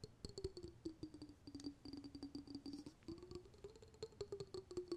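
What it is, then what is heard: Small glass jar of water tapped and scratched. A small round glass jar with a metal lid, filled with sparkly water, is held in the hands and tapped and scratched with the fingertips and nails. Rapid, light, uneven taps and scratches come with a soft hollow tone that slides around 300 to 400 Hz and a faint high ring.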